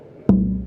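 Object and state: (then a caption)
Spruce guitar top tapped. A single tap at the center of a red spruce guitar top fitted with a salted maple rosette gives a short knock. A low tone near 190 Hz rings on and fades within about a quarter second.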